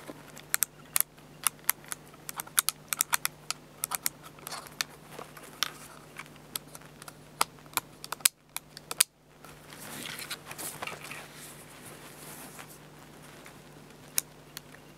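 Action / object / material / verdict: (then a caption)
tap / plastic digital camera body / plastic / none. Fingertips tap along the top plate and viewfinder hump of a black plastic Fujifilm bridge camera with a hollow body, resting on a towel. Sharp, bright, dry clicks come in an irregular string over a faint steady low hum. After a brief silence near the middle, a soft brushing hiss rises and fades, with a few more taps near the end.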